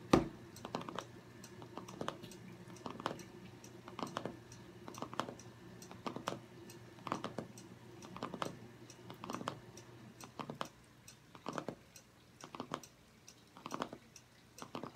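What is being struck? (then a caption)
Cardboard hardcover journal. Several fingernails rapidly tap the cardboard cover of a striped hardcover journal lying flat on a wooden table. The sound is quiet, dry, short clicking taps in quick flurries that recur about every second, each dying away almost at once, over a faint steady low hum.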